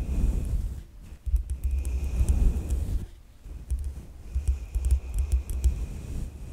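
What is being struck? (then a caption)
Metal mesh microphone grille. A soft synthetic makeup brush rubs across the top of a black USB microphone's hollow metal mesh grille, producing close, deep, rumbling brushing strokes with faint bright crackles. The rubbing comes in bursts with brief quieter pauses, the longest near the middle.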